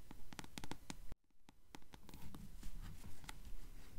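Long acrylic nails tap and scratch the yellow-dyed page edges of a closed paperback book held upright. Quick, short, crisp taps with soft dull thumps come in an uneven rhythm, then stop in a brief near-silence before the tapping and scratching pick up again.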